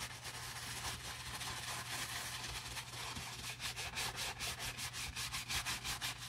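A wooden-handled natural bristle brush scrubs the lathered grey nylon lining fabric of a Prada bag while a gloved hand holds it. A steady, bright, hissing scrubbing sound turns into quicker rhythmic back-and-forth strokes in the second half, over a faint low hum.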